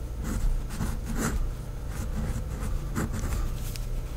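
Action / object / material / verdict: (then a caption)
scrape / fineliner pen on lined paper pad / paper / none. A pink fineliner pen tip writes names in cursive on a flat sheet of a white lined paper notepad, giving continuous soft scratching with brief brighter strokes over a steady low hum.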